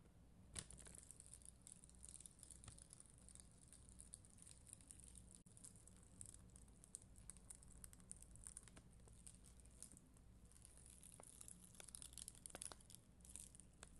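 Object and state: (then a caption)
Plastic rhinestone sticker sheet. A black mascara spoolie, held by long green nails, scratches across a flat sheet of red and clear acrylic gem stickers on white backing. Quiet, dense, bright scratchy crackles and tiny clicks carry on for the whole clip over a steady low hum, with a few sharper ticks standing out.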